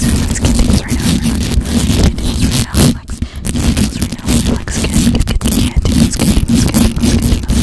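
Long acrylic nails on both hands scratch quickly over the hollow metal mesh grille of a black condenser microphone. The result is a dense, continuous rasping scrape with a heavy, booming low end and a fast rustling texture. It eases briefly near the middle before resuming at full intensity.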